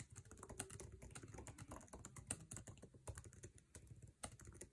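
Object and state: Laptop keyboard typing.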